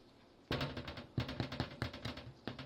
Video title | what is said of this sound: Baking Bread Using a Stand mixer! | It should sound hollow when you tap it. That's going to be a clue that it's finished.